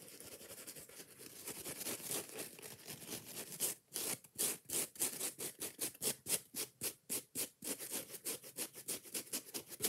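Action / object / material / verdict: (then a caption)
scrape / foam kitchen sponge with scouring pad / foam / none. A yellow and green foam kitchen sponge with a scouring pad is gripped in the hand while long nails scratch and rub the pad and the foam edges. A steady, bright, hissy rubbing for the first few seconds turns into fast, sharp scratching strokes that each cut off quickly. The strokes repeat at an uneven pace.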